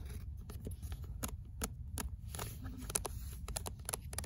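Fingernails scratch the spine, paper cover and deckled page edges of a paperback book with a paper cover. Short, dry, bright scratching strokes come in quick irregular bursts over a steady low background rumble.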